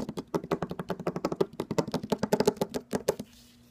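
An empty brown suede ankle boot with a rubber sole and a stacked heel is held up and tapped with fingertips and nails on the sole and the suede upper. About 26 quick, dull taps come in a fast, uneven run, each dying away almost at once. The tapping stops just after three seconds, leaving a faint low hum.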